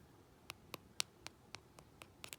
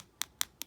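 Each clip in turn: First: Light, quick taps on a coated fingernail give soft, dead clicks; the dip powder activator has not set yet. Second: Three quick, high, sharp ticks from a nail tap show the dip powder coating has hardened and set.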